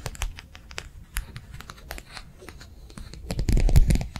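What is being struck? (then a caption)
Thin flexible plastic sheet. A thin, flexible matte plastic sheet, slightly bent and held in both hands, is tapped and scratched with long nails. Quick, crisp taps and scratchy crinkles come in rapid succession over a low, dull undertone, growing louder and denser toward the end.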